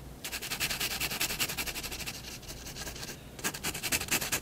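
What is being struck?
Fineliner pen on paper sheet over wooden desk.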